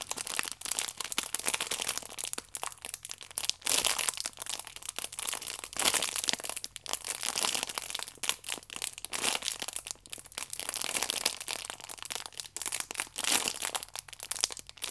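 A plastic-wrapped pack of paper baking powder sachets is held horizontally in both hands while the fingers squeeze and rub the clear plastic film over the sachets. The film makes dense, bright crinkling and crackling with many sharp, quick-dying snaps and almost no low end, swelling and easing over the fifteen seconds.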